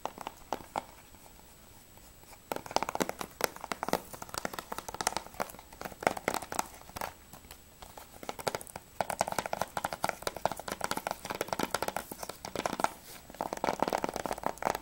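Fingertips and nails tap rapidly and scratch across the front cover of a closed, hollow plastic PS3 game case for Battlefield Bad Company. After a quiet opening with a few sparse clicks, dense bursts of short, dry, clicky taps with crinkly scratching start around 2.5 seconds and continue in waves, easing briefly near 8 and 12.5 seconds.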